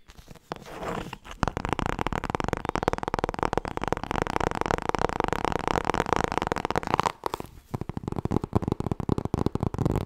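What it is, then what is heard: Hardcover book tapped with fingernails. Long red nails rapidly tap and scratch the cover of a thick, solid black cloth or leatherette hardcover book with gilded page edges, and a hand riffles the page edges. After a soft start, a dense stream of muffled, low-mid tapping and scratching runs steadily, drops briefly near the seven-second mark, then resumes as quicker, sparser taps.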